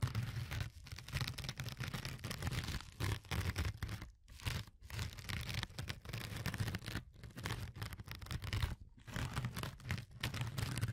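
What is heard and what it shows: A fingertip with a short nail scratches and pokes the glittery, fine-textured surface of a flat, yellow, porous foam sponge. The result is a dense, close-up scratchy crackle with a heavy low rumble underneath. Brief silent gaps break up the scratching.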